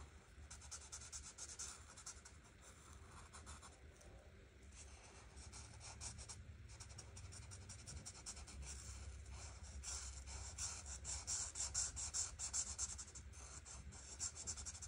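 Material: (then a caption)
Paper. A grey art marker tip is scratched and rubbed across a flat paper coloring book page while coloring, making quiet, steady bright scratchy strokes. A low hum sits underneath, and the strokes grow slightly louder and more vigorous toward the end.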